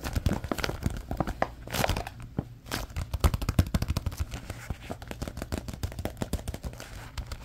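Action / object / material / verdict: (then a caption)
scrape / softcover paper activity book / paper / none. Fingertips flex, rub and flip the paper pages of a SpongeBob softcover coloring and activity book held in both hands, making the pages crinkle. A dense stream of short, dry crackles and ticks plays throughout, broken by brief swells of rustling near 2 and 2.7 seconds. The sound is mostly low-weighted with little bright content, and each crackle dies away almost instantly.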